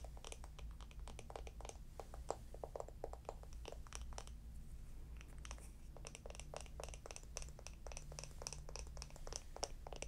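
A small, hollow, round wooden jar with a lid is held close and tapped and scratched with long nails. The result is a rapid run of short, dry clicks and scratchy taps with bright edges over a steady low hum.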